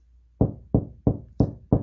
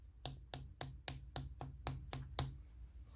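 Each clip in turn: First: hollow gypsum board wall. Second: solid concrete wall.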